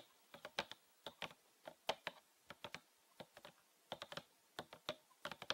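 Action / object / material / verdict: tap / plastic bottle / plastic / none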